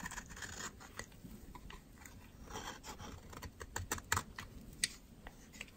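A metal utility knife blade scrapes dry flakes off the edge of a solid white soap bar held in the fingers. The clip is a quiet run of crisp, bright scraping strokes and short crunchy clicks, with a few sharper snaps near the end as flakes break away.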